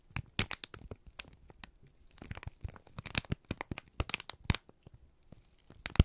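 A wrinkled sheet of brown kraft paper is squeezed and crinkled in both hands, giving a dense run of sharp, dry crackles and crunches. The short bright snaps come close together over a soft rustling bed, with a few louder pops standing out.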